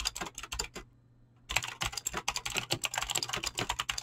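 Fingertips type fast on a mechanical keyboard with clicky green switches and PBT plastic keycaps, producing a rapid stream of sharp, bright clacks. The typing stops briefly for about half a second, then resumes.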